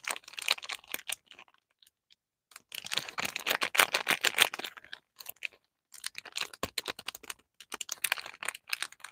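Fingertips and short nails tap and scratch the surface of a small, closed, printed cardboard box holding a full bar of Lifebuoy soap, held unopened in both hands over artificial grass. Rapid, dry, bright clicks and crinkly scratches come in irregular bursts, separated by short silent pauses. Each tap is crisp and dies away almost instantly.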